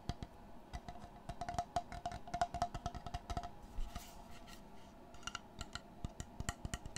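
Fingertips and short nails tap and scratch the face and edge of a large, flat, solid, light wooden panel held upright near the mic. Quick, dry taps with a short, woody knock pitched around 700 Hz come in irregular bursts, broken near the middle by a brief, bright scratching hiss. Each tap dies away almost instantly.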